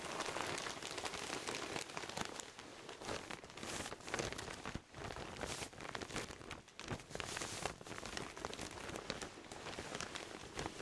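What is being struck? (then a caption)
Pillow sealed in a thin plastic bag. Fingertips and a palm rub and press a large soft pillow sealed in a thin clear plastic bag, held against the chest. The plastic gives a dense, continuous crinkling with bright, rain-like crackles that swell and dip in loudness throughout.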